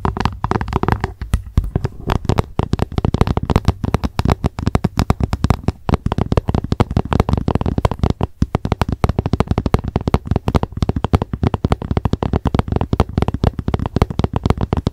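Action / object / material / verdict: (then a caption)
tap / plastic lunch box / plastic / none. A translucent, hollow plastic lunch box sits upside down and is tapped rapidly with the tips of long nails. Fast, dense streams of short, dry, hollow clicks with a low, boomy body follow one another almost without pause and stop quickly after each tap.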